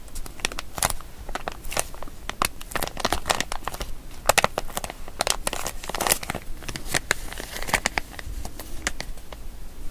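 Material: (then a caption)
Plastic. A small, seemingly empty printed plastic zip-lock pouch labeled "Hyper Spice," with a pink zip line and a yellow tab, is held in both hands while fingertips and nails crinkle it and work the zip seal. Dense, sharp crinkles and crackling snaps sound continuously, with bright, short transients and little ring after each.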